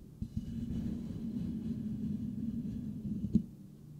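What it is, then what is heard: Metal microphone grille being scratched. Fingertips of both hands scratch and rub the perforated metal mesh grille on the hollow head of a white Blue Yeti microphone. The result is a steady, dense, low scratching rustle with a hum-like tone around 220 Hz, broken by a few sharp taps near the start and a louder knock shortly before the end.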